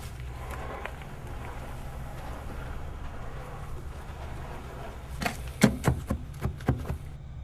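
While digging, a buried wooden box with a lid is struck, giving several short, dull, hollow knocks in a quick cluster near the end over a steady low rumble. The sound marks it as hollow wood.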